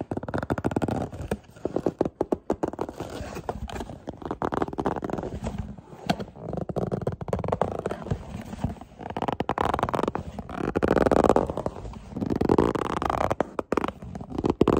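A small, hollow, printed white and black cardboard product box is held in the hands while fingertips and nails tap and scratch its sides and barcode panel. Rapid, dense dry taps and scraping rustles fill the clip in uneven bursts, with a hollow, muffled body and little high brightness.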